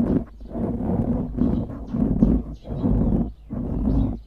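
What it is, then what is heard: Foam microphone windscreen being scratched. Fingers squeeze and scratch a dark grey foam windscreen on a microphone, making a muffled, low-heavy rustling crackle. The sound comes in long repeated swells with short dips between them, with little high content.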